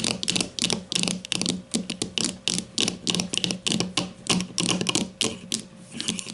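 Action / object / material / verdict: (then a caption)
tap / plastic deodorant stick / plastic / none. Long matte nails of both hands tap rapidly on a grey plastic deodorant stick lying on its side on a table. The taps come in quick, uneven bursts of bright, dry plastic clicks with a faint hollow low tone beneath, each click dying away almost instantly.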